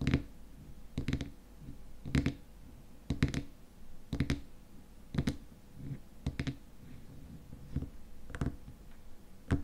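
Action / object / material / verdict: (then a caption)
tap / plastic lid on a glass cream jar / plastic / none. Fingernails tap on the frosted white plastic lid of a small glass cream jar filled with cream, then hands grip the lid edge. Short, dry clicks come roughly once a second, often in quick pairs, each dying away almost at once over a soft low rustle.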